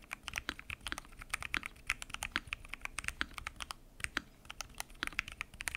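Fingertips type continuously on a full-size mechanical keyboard with lubed switches, pink and mint PBT keycaps and a transparent acrylic case. The result is a rapid, steady stream of short, bright clacks centered around 2 kHz, each dying away almost instantly, with a soft low thock under some strokes.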